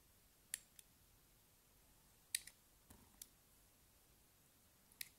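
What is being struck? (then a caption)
Aerated soap bar cut with a small knife. A small knife blade carves strips from a palm-sized, solid pink soap bar full of small holes that is held in the hand. Quiet, sharp, bright crackling clicks come at irregular intervals, with brief pauses of near silence between them.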